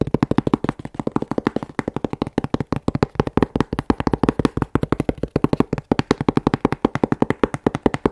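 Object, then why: Corrugated cardboard box. A hollow, closed medium corrugated cardboard box with a UN3481 battery label is held in one hand and tapped with long manicured nails. The result is a rapid, steady run of dozens of short, dry taps with a hollow low-mid thump. There is little high-end brightness, and each tap dies away almost instantly.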